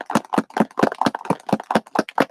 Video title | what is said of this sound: Foiled Again! Minc Play -- Patti Tolley Parrish | you got to shake it till you can hear that go loose, loosey-goosey